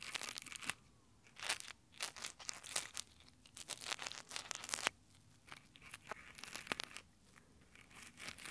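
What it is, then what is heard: Nylon gloves scratching a microphone grille. Textured nylon exfoliating gloves cup and rub over the metal mic grille of a handheld Tascam recorder, with fingertips scratching the fabric. Bursts of crunchy, bright, tearing-like scratching come and go with brief quiet gaps between them.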